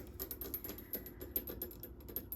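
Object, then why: Metal microphone arm. Fingertips tap repeatedly on a metal microphone arm clamped to a desk, making a rapid series of soft, light metallic taps with a faint high ring.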